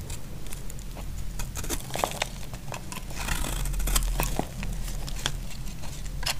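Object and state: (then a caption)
Dry bar soap being carved. A solid, dry pink bar of soap is held in the hand and carved at the edges with a utility knife, breaking off crumbly flakes. Short, bright scraping and crackling cuts sound one after another over a steady low background rumble.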